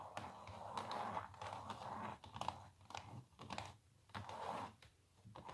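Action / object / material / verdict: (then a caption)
scrape / printed canvas stretched on a wooden frame / canvas / none. A small printed canvas on a wooden frame, lying flat on a table, is rapidly tapped and scratched with long natural nails. Quick, dry clicks and scratchy strokes come in bursts, centered around 900 Hz with a faint bright edge and little low end. The texture is soft, crisp and papery, with very short decay between strokes.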